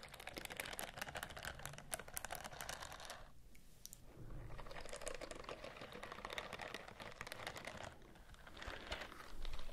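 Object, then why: Silicone bristle scrubbing glove. Long nails scratch and rub across the bristle rows of a white silicone scrubbing glove held close to the microphones. The result is a dense run of fast, dry, bright clicks and scrapes. The sound dips briefly to a softer texture twice before picking back up.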